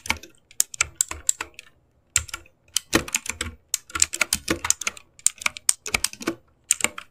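Fingertips type and tap in quick succession on a full-size, RGB-backlit mechanical computer keyboard with plastic keycaps, resting on a desk in a dark room. Bright, crisp clacks come in fast, uneven bursts with brief pauses, each keystroke sharp and dry with almost no ring or low-end thump.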